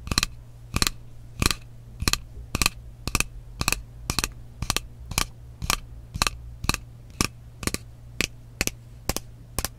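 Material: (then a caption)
Glass. Long nails tap on the body of a frosted glass mist bottle with a metal cap, making a steady series of short, sharp, bright clicks about every half second. Each tap dies away almost instantly over a constant low hum.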